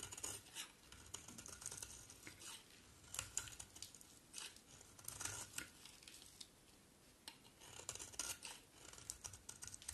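A solid bar of green soap, held in the hand, is shaved with a utility knife blade, and flakes fall off. Quiet, bright, crisp scraping and crackling strokes come in uneven bursts, each cut sharp and short with almost no ring and little low end.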